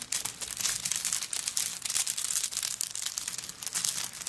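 Long nails scratch across the coconut shell chips covering a handbag that lies flat. The result is a dense, bright, crackling scrape made of many quick clicks with almost no low end.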